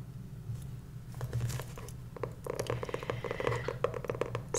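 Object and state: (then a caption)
Cloth-covered hardcover notebook. Long nails tap and scratch the patterned fabric-covered board cover of a hardcover journal with a solid book block, held upright. Soft, dry clicks and scratchy patters run over a low steady hum, with the taps growing denser and sharper in the second half and a bright scrape at the very end.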